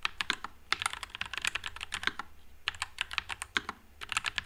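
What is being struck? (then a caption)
Mechanical keyboard with plastic keycaps. Fingertips type continuously on a white low-profile Nuphy Air96 mechanical keyboard with Wisteria switches and plastic keycaps. The keystrokes are quick, bright, clacky taps with very little low end. Each one dies away almost at once, coming in rapid bursts with brief pauses.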